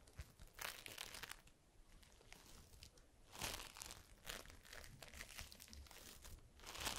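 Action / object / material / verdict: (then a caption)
scrape / foam bead slime (floam) / polystyrene beads / none. A palm-sized lump of yellow floam, polystyrene foam beads in slime, is held in both hands and squeezed, pressed and kneaded with the fingertips and long pink nails. It gives off quiet, bright bursts of crunchy, crinkling bead sounds that swell and fade with each press over a low, soft background.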